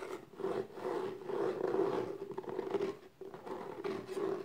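Long nails scratch the top and side edges of the lid on a small, closed, hollow black textured cardboard gift box. The result is a steady, dry rasping with a hollow hum near 370 Hz. It swells and dips in short strokes, with a brief near-silent gap just past three seconds.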